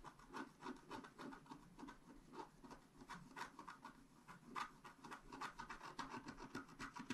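A wooden stylus scratches a flat scratch art paper card lying on a table, working near the top edge with fast, repeated strokes. The result is a steady run of dry, rasping scratches that come quickly and somewhat unevenly, with a papery bite around 1 kHz over a soft lower body.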